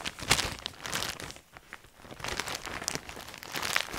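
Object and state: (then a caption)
Plastic bag of fabric lanyards. Hands crinkle, press and rub a large, clear, thin plastic bag full of coloured fabric lanyards on a table. The result is bright, dry crinkling in bursts with sharp crackles, easing briefly to a quieter rustle midway before picking up again.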